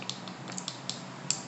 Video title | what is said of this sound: Acrylic Application using Nail Forms | you can take your acrylic brush and you can tap it now when you hear that sound that's how you know it's done